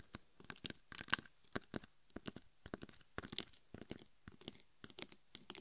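Long acrylic nails scratch and tap the face and sides of a life-size hollow mannequin-head binaural microphone covered in chunky gold and red glitter. The result is a quiet, irregular run of short, dry, bright scratchy crunches with brief silent gaps between them and no ringing.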